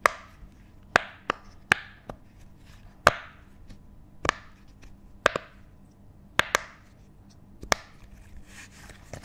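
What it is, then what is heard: Silicone pop-it fidget toy. A hand-sized rainbow silicone pop it fidget toy with thin hollow bubbles, held in both hands close to the mic, is tapped and scratched with the fingertips. About a dozen sharp, dry taps and pops centered around 1.2 kHz with bright edges die away almost instantly. Soft scratching fills the quiet gaps between them.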